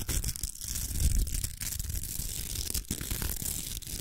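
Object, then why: Plastic velcro hair roller. Long acrylic nails scratch along the velcro surface of a large, hollow pink plastic hair roller. The result is a continuous, rough, crackling scrape with a bright hiss on top and a dull low rumble underneath, broken by brief dips between strokes.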